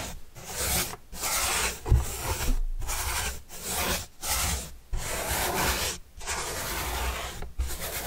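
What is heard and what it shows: A paintbrush with a red-and-black handle is brushed across the surface of a large, flat, white corrugated cardboard pizza box with green edges, held upright and hollow. About eight dry, rasping strokes are heard, each a broad scratchy hiss with a low hollow rumble underneath, separated by brief silent gaps.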